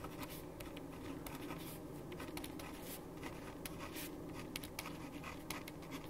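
A right hand writes with a ballpoint pen on a printed white paper sheet resting on a wooden desk, the tip scratching over the paper. Quiet, steady scratching runs throughout, broken by short, bright strokes over a constant low hum.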